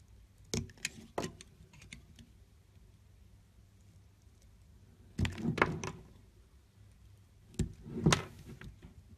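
A solid green bar of soap is held in the hand while thin slices are shaved off its edge with a utility knife blade. Brief, crisp scraping cuts with a bright edge come in three clusters, two quick strokes early on, then longer rasping passes later, separated by quiet stretches of low background hum.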